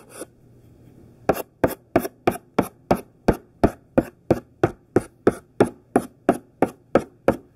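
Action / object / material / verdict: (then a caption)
scrape / thick chalk on a chalkboard / chalk / none. Thick, chunky pink sidewalk chalk gripped in the hand writes large capital letters on a black chalkboard. One scratchy stroke is followed by a pause, then a steady, rapid run of short strokes, each starting with a light tap and a brief bright scratch.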